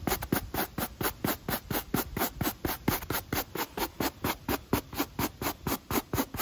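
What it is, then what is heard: Rubber sneaker sole being brushed. A rubber sneaker outsole and foam midsole, held in the hand, are scrubbed with a pale natural-bristle wooden brush in a steady back-and-forth rhythm. About 29 quick, dry scratching strokes can be heard, each a short bristly burst with a bright hissy top and a soft low thump, separated by brief pauses.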